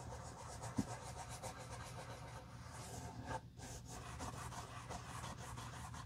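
A soft cotton cloth rubs the outer side and inner collar of a hollow, empty black pebbled-leather Tod's driving loafer held in a gloved hand. The sound is a steady, muffled rubbing and swishing, mostly low with little brightness, with a brief sharp tick early on and a short quiet gap midway before the rubbing resumes.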